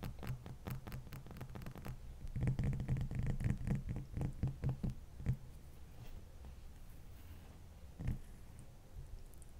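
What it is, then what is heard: Large ice block. Long fingernails on both hands scratch and tap a large, solid, dome-shaped ice block resting on a towel. Quick, irregular taps make dull, low thumps with short bright clicks, densest in the first half. Softer scratching follows, with one more firm tap near the end.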